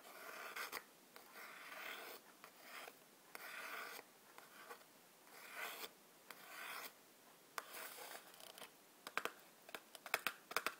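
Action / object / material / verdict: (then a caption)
scrape / cardboard matchbox / cardboard / none. Long black-polished nails scratch and tap the sides and edges of a small, hollow, printed cardboard matchbox standing on a white table. Quiet bursts of dry, bright scratching and rubbing come one after another with short silent gaps between them. Near the end, sharp, clicky taps take over.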